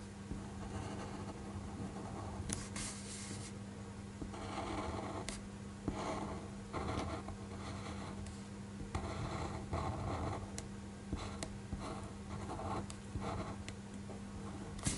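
A black fineliner pen tip draws strokes across a flat white paper sheet lying on a desk, producing soft, dry scratching bursts in short repeated passes. A steady low hum sits underneath, and a few sharp, bright ticks stand out where the pen touches down.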